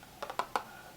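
Fingernails tap four times on an empty, hollow macaron box from a Toronto bakery. The taps are short and crisp, each with a hollow knock centered near 850 Hz that dies away almost at once.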